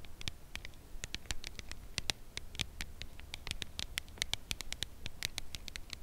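A full red Lindor cardboard chocolate box is held in both hands and tapped with long nails on its narrow side. A steady run of quick, dry, bright clicking taps follows, each cut off with no ring, over a soft low rumble.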